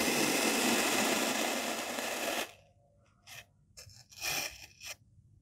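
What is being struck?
Molded kinetic sand block.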